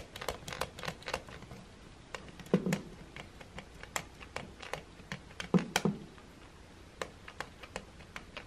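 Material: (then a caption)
Plastic. A fingertip taps and presses the slide switch and the small button near the handle of a silver plastic hair dryer body lying on a wooden table. Many quick, dry plastic clicks and ticks come in an irregular pattern. A few louder, duller presses land near the middle and later in the clip.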